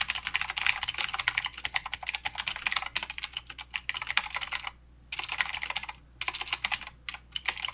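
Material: Plastic.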